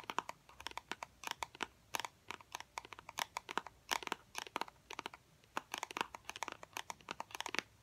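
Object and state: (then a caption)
Small cardboard box. Fingernails rapidly tap a small, hollow, white cardboard fidget cube box, producing quick clusters of dry, crisp clicks. The taps are sharp and papery with a hollow tone around 950 Hz and bright upper edges, each dying away instantly and separated by brief pauses.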